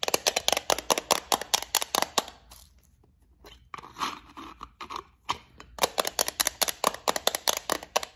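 Long acrylic nails tap and scratch a small rectangular clear plastic box partly full of gold beads. Quick, sharp, bright clicks come in a fast, uneven run, then give way to a quieter stretch of scraping and faint rattling before the rapid tapping resumes to the end.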